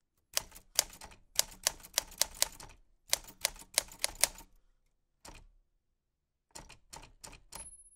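White-gloved fingertips press the round keys of a black 1940s Smith-Corona portable typewriter with a metal body and paper loaded. Bursts of sharp key clicks and typebar strikes come in quick runs with short pauses between them. A thin, steady high tone rings out at the very end.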